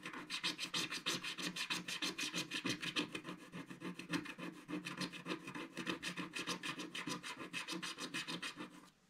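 A wooden stick scratches the coating near the lower edge of a flat, solid, black-coated scratch-art card page. It makes a quick, steady run of bright, raspy scratching strokes, about three per second, with little low end. The strokes fade out at the very end.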